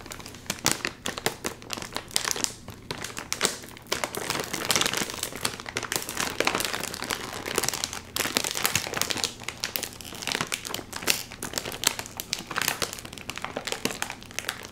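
A full, sealed red and white metallized plastic chip bag has its top seal pulled while both hands crinkle the bag with their fingers. Dense, bright crinkling and sharp crackles run throughout, with quick snapping peaks over a steady rustle and almost no low end.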